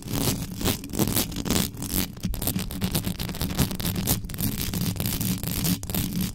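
Long yellow nails on both hands scratch fast across the hollow metal mesh head of an uncovered black condenser microphone. The result is a dense, continuous rasping scrape with a heavy low rumble, broken by quick, brief, brighter scratchy bursts.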